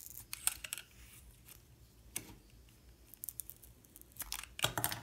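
A metal utility knife blade scrapes and cuts the yellow outer layer away from a solid yellow soap bar with a white core, held in the hand. The result is a quiet, irregular series of short, crisp, bright scraping and snapping sounds, with low rumble between them.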